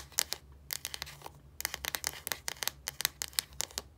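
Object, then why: Plastic deodorant stick cap. Long nails tap and scratch on the hollow, translucent plastic cap end of a deodorant stick. About twenty quick, bright clicks land in uneven bursts, mixed with short scratchy rasps. Each tap dies away at once, over a faint low hum.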